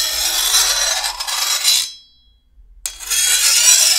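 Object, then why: Steel machete blade and hand file. A hand-held steel file is drawn along the edge of a long, thin, solid steel machete blade, making a bright, hissing rasp with a faint metallic ring. The filing runs steadily for almost two seconds, fades into a short silence, then starts again sharply and continues to the end.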